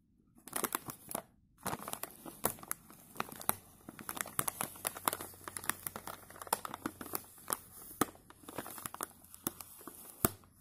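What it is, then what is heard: Plastic chip bag. A filled plastic chip bag is pressed by gloved hands while a bristle brush strokes its surface. Dense, bright crinkling and sharp crackles come in quick bursts, with a brief quiet gap early on, over a faint low hum.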